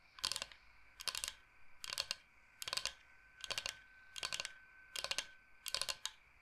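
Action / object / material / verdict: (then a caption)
tap / bamboo cutting board / bamboo / none. Fingernails tap fast on a large, flat, solid bamboo cutting board shaped like Michigan. Eight quick bursts of crisp, bright clicking come at a steady pace, each made of several rapid taps. The taps are dry with almost no ring and little low end.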